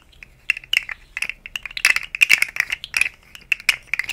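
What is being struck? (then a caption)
Segmented plastic slug fidget toy. A rainbow segmented, hollow plastic articulated slug fidget toy is moved and flexed by hand over the microphone. It gives irregular bursts of sharp, bright ratcheting clicks from its segments, each click dry and quickly gone, with almost no low end.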